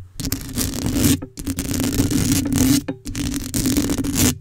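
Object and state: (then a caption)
Metal mesh microphone grille scratched. Long pale acrylic coffin nails scratch the black metal mesh head of a microphone in three sustained, raspy bursts separated by brief pauses. The close, scratchy texture carries a steady humming tone around 285 Hz with a bright, hissy edge.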